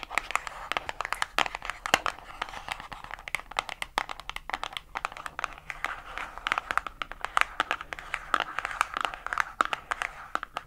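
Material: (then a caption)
Cardboard. A small, light pink printed cardboard box, likely holding a gel polish pot, is held in both hands and scratched and tapped with long acrylic nails. Rapid, crisp clicking taps mix with dry, papery scratching across the whole clip. The sound is bright and short, with almost no low end and no ringing after each tap.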